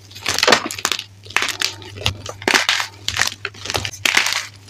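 Both hands grab grey-white gym chalk pieces from a bin and crush the brittle solid chunks between fingers and palms, breaking them into powder. Bright, dry crunching and crackling comes in repeated bursts over a faint steady low hum.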